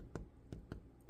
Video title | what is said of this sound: My Favorite New Easter Tradition - Hot Cross Cinnamon Buns | When you tap it in the middle, when it sounds kind of hollow, that's a good indication